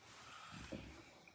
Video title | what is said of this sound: blood pressure monitor | knocking on it is very hard, and it's just like knocking on a door